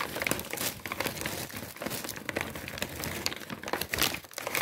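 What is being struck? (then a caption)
Kraft paper bag. A large, empty brown kraft paper bag with white stripes, hollow and thin-walled, is held close and crinkled and crumpled by the fingertips. The sound is a continuous dry, bright crackling with rustling bursts that swell and fade throughout.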